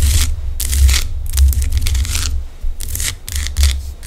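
Long decorated acrylic nails scratch and tap the rough crystalline surface of a large, solid pink-orange Himalayan rock salt lamp held in both hands. Bright, dry rasping bursts of scratching come in irregular bunches over a steady low hum.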